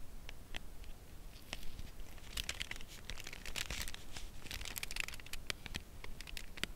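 A cardboard chocolate bar box is held edge-on and turned while long nails tap along its edge. The result is a quiet, irregular run of short, dry, crisp clicks with bright papery crackle. The taps cluster more densely toward the middle and end, over a soft low background rumble.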